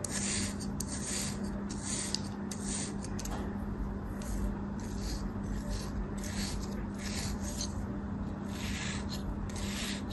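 A thin metal blade makes repeated parallel slicing and scraping cuts through a small, solid purple kinetic sand mold held in the hand. Each stroke gives a soft, gritty rasp with a bright hiss, repeating steadily over a constant low rumble at an even, quiet level.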